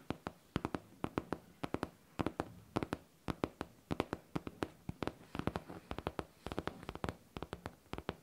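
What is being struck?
Faux leather backpack.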